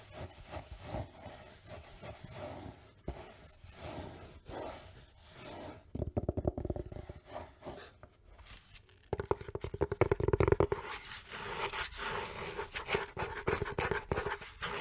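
Long nails scratch and rub the velvet surface of a small, rigid, hollow black velvet-covered case held in the hands, making soft, dry brushing strokes. Around the middle and again toward the end, the strokes turn faster and sharper into louder bursts of scratching, with a faint hollow resonance under the rubbing.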